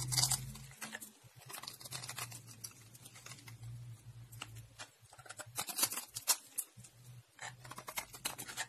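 A dark blade scrapes the surface of a solid lime-green dry soap bar held between fingers with green painted nails, sending cubes flying off. Crisp, bright scraping and crackling ticks come in quick clusters over a faint steady low hum.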